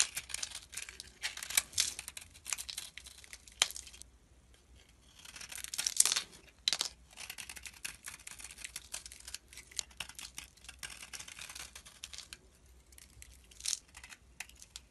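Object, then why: Bar of soap scraped with a utility knife blade. A utility knife blade scrapes powdery shavings from the face of a solid, rectangular red-orange soap bar held in the fingers. The sound is a quiet, dry, bright crackling scrape made of bursts of fine grainy strokes, separated by brief pauses, with almost no low end.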